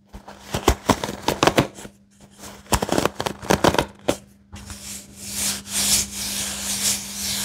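Fingertips and nails flick and rub across the wooden pins of a wooden paddle hairbrush with a white cushion, making a run of sharp, dry clicks for the first half. This gives way to a steady, bright scratchy rubbing that swells and fades, with a faint low hum underneath throughout.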